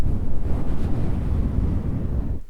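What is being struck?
Nothing is struck.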